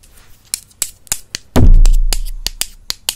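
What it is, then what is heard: Wooden brush handles tapped together. Two solid wooden makeup brush handles are tapped together with the fingertips, long nails visible. A series of sharp, bright, dry clicks sounds, and midway a heavy low thump swells up and slowly fades beneath the continuing taps.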